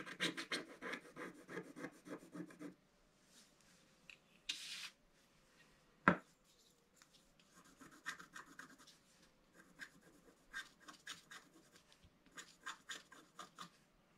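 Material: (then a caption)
Coated paper. A wooden stylus scratches the lower petals on a flat, black-coated scratch-art paper sheet, producing quick, dry rasping strokes. A dense run of strokes opens the clip, then comes a quiet stretch with a brief bright hiss and a single sharp click. Scattered bursts of lighter scratching follow through to the end.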